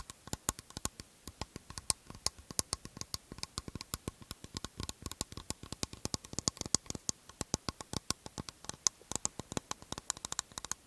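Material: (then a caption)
Aluminium. An aluminium aerosol can with a plastic cap is held in the hands and tapped with fingertips and nails on its metal body, giving around sixty quick, sharp taps in an irregular patter. Each tap is a bright, dry click that dies away at once with no ringing, over a faint steady hiss.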